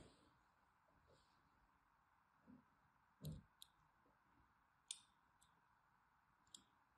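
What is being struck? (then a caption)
Bar of soap cut with a thin blade. A thin metal blade scores crisscross lines into a solid orange and white striped bar of soap held in the hand. Four short, sharp, bright clicks and scrapes stand out at irregular intervals, some with a soft low thump, over a quiet, steady background hiss. Each cut dies away almost instantly.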